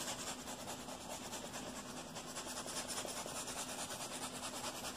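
Fingertips and nails scratch and rub fast across a padded, neon-yellow nylon mesh-covered pocket on a vest. The sound is a continuous, bright, hissy rasp with loosely rhythmic strokes, holding a steady, quiet level throughout.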